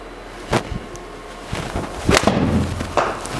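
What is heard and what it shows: A TaylorMade P730 solid forged steel blade 9 iron strikes golf balls four times, each hit a short, sharp thud with a brief ring. The strikes sound solid and normal, much firmer than the hollow P790 head.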